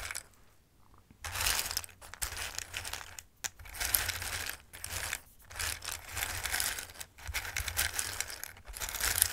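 Fingertips sweep and shuffle hard pieces of dried Christmas pasta in a bowl, making them clatter against each other. The sound comes in dry, bright bursts of rattling and crinkly clicking, separated by brief near-silent pauses.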